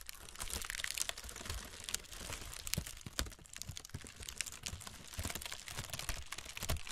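Long red nails tap and scratch along the cells of a brown honeycomb kraft paper packing wrap roll. The result is a dense run of dry, papery crinkles and sharp ticks with bright high edges and a soft low rustle underneath. Each tap stops almost instantly with no ring.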